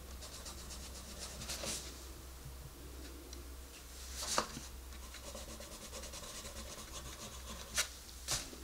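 A wooden colored pencil rubs over the page of an open paper coloring book to color a rabbit's face, with the other hand resting on the paper. Quiet, steady scratchy strokes fill the clip over a constant low hum, with a few brighter, sharper swipes standing out near the middle and end.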